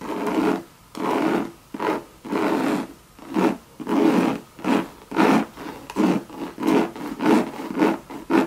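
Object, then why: Coated canvas handbag with leather trim. A Louis Vuitton monogram bucket bag, hollow and made of coated canvas with leather trim, is scratched with long red nails. The result is a series of raspy, mid-pitched scraping strokes with short pauses between them. The strokes start long and grow shorter and quicker toward the end.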